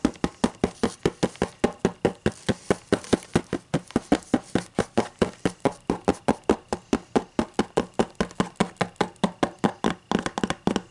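Fingers tap and knock on a hard book in a rapid, steady stream of about 56 short, dull knocks over eleven seconds. Each tap dies away almost at once, with a woody, mid-pitched click.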